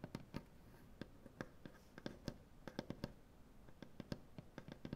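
Long dark-painted nails tap across a solid light wood butcher block tabletop, making quick, sharp, dry clicks with a dull woody knock underneath. The clicks come in an uneven rhythm, with no talking. Each tap dies away almost at once over a faint background hiss.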